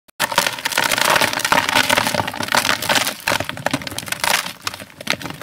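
A hand-sized molded gray sand-cement block, solid and dry, is squeezed and crumbled between bare fingers over a basin of loose powder. A dense, continuous gritty crushing is heard, full of bright crackles and brief dry snaps that carry on for the whole clip.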